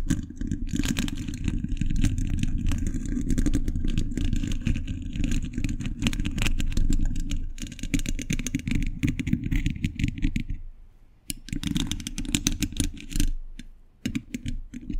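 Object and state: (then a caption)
Metal microphone grille being scratched and tapped. Fingers wearing metal thimbles scratch and tap the hollow, domed steel mesh grille of a large condenser microphone. The result is a dense, boomy, low-heavy rumble packed with rapid scratchy clicks and sharp taps, which thins out briefly around 11 seconds and again near 14 seconds.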